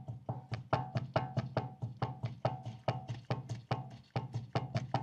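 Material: Steel.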